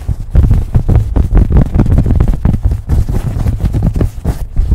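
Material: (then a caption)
Cotton fabric. A beige cotton baseball cap is held over a microphone and scratched and rubbed with fingernails. The result is a fast, continuous run of deep, muffled scraping and thumping bursts, with almost all of the sound in the low range and only faint brighter scratch texture above it.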